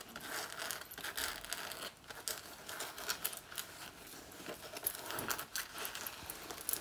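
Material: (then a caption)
Faux leather. Long nails scratch the lower front of a black faux leather jacket worn on the body and pull at its front panel. The sound is a dense, bright, dry scratching and crinkling with almost no low end. It comes in quick, uneven bursts and sharp peaks of varying loudness.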